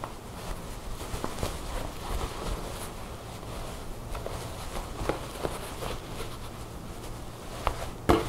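Long blue nails scratch and tap across a black woven fabric vest with buttons lying flat on a table, working along its buttoned front. Soft, steady scratching on the weave is broken by occasional sharp, short taps, with the loudest tap near the end.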